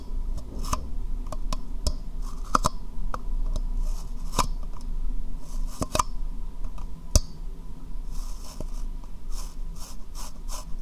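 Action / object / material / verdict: tap / small hard plastic cup / plastic / none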